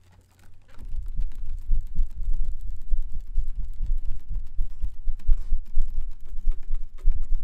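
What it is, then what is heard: Plastic folding fan being flapped. A white plastic-ribbed folding fan with a printed pleated fabric leaf is shaken and flicked quickly by hand, its ribs flapping and rattling. After a brief quiet start, a rapid, uneven stream of dull, low, muffled whooshing thumps follows, with short clicks and no ringing.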